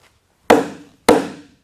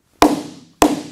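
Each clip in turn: First: Two sharp, firm axe blows on a big log, each dying quickly: the wood here is sound and solid. Second: Two sharp axe blows on a big log, each leaving a low, woody boom that fades slowly: a hollow spot.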